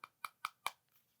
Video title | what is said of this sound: NEW Lattafa Asad Bourbon FIRST IMPRESSIONS | much nicer and you can hear that just in the tone